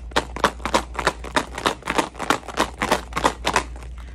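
A tube holding glass marbles, tube number two, is shaken, giving about sixteen quick clattering rattles at roughly three per second as the marbles knock against each other and the tube. A steady low hum runs underneath, and the rattle sounds distinctly different from tube number one.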